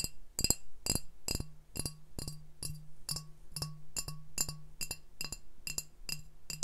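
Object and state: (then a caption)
Glass beer bottle. A medium brown glass beer bottle with a printed sleeve label, hollow and apparently empty, is tapped with fingertips, first on its body and then on its glass base. It makes a steady run of short, bright glassy clinks with a high ringing overtone and a soft low thump under each tap, and each one dies away almost at once.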